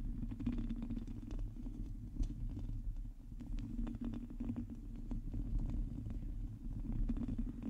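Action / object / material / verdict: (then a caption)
scrape / metal mesh microphone grille / metal mesh / none. Long teal nails scratch a hollow metal mesh microphone grille while hands wrap around it. The result is a dense, low, muffled rumble with a steady stream of quick scratchy ticks and brief brighter crackles over it.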